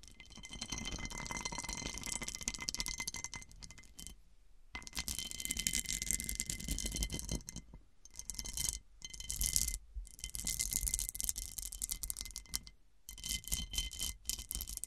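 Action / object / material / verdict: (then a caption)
scrape / cut-glass serving dish / glass / none. Long nails rapidly scratch and tap over the raised star facets of a large, round, hollow cut-crystal glass serving dish turned upside down. A dense, bright, gritty clicking and scraping runs throughout, with faint steady glassy tones ringing underneath, broken by a few brief silent pauses.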